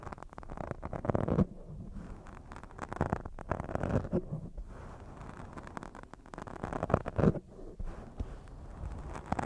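One hand grips and rubs a black foam microphone windscreen while long nails scratch it. The result is a muffled, low, bassy rustling with bursts of dense scratchy friction that swell and fade in irregular waves, with no sharp ring.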